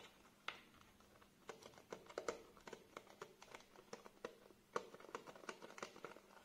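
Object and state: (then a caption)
Plastic blister pack on cardboard backing. A small nail glue package, a clear plastic blister on a printed cardboard card, is held in the hands while fingernails scratch and tap the plastic front; then the card is turned over and its back is scratched. It is heard as quiet, crisp, dry taps and clicks with a hollow plastic tone near 480 Hz, mixed with soft crinkly scratching. Each tap dies away almost instantly.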